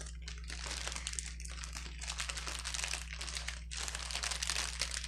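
Fingertips press and squeeze the bubbles of a clear plastic bubble wrap sheet on a table, lifting one edge. Dense, bright crinkling rustles on and off throughout, with short dips between bursts. A steady low hum runs underneath the whole time.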